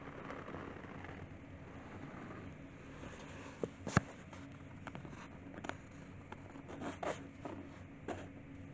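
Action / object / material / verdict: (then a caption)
scrape / cloth-covered board notebook cover with paper label / cloth and paper / none. Bare fingertips with painted nails rub and scratch the pasted paper label and worn dark cloth-covered board cover of an old hardback 'Rough Note Book', then lift the cover edge. A quiet, steady, low scratchy rustle runs throughout, broken by several brief sharp clicks and crinkles, the loudest snapping out near the middle.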